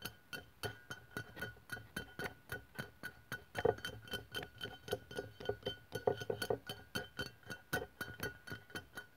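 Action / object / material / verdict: tap / aluminium aerosol deodorant can / aluminium / none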